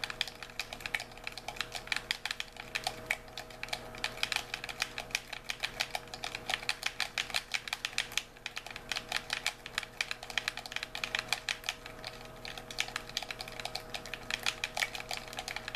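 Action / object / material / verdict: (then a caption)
tap / plastic handheld game controller / plastic / none. A white, hollow plastic handheld game controller is held in both hands while thumbs and fingertips rapidly press and click its buttons and sticks. The result is a continuous, dense stream of quick, bright, dry plastic clicks with very short decay, like fast typing, over a faint steady hum.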